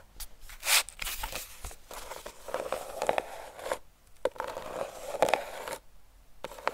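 A flat, hollow, rectangular Bliss cardboard eyeshadow palette, cream with a purple art-deco print, is held in both hands and tapped and scratched with long painted fingernails. Quick dry taps mix with bright, papery scratching and crinkling bursts. Each sound stops at once with no ring.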